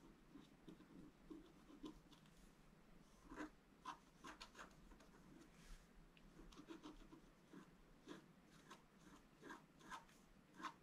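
A thin wooden stylus lightly scratches a flat black-coated scratch-art card, making quiet, dry rasping strokes. Short, brighter scratches stand out over a soft, continuous rubbing hiss.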